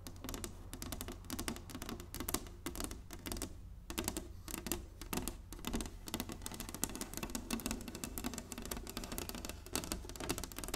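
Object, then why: Inlaid wooden chessboard. Long nails tap rapidly across the surface of a large, flat, inlaid wooden chessboard. The result is a dense, continuous stream of short, dry, bright clicks that die away almost instantly, over a steady low hum.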